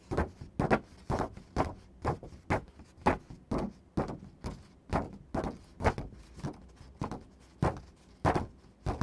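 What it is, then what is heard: Paper sheet tapped and scratched. Fingertips and medium-length nails tap and scratch a single thin white printer paper sheet lying on a dark surface. A steady, slightly uneven run of quick, dry taps follows, each a short papery crackle that dies away almost at once. Faint scratching fills the quiet gaps between them.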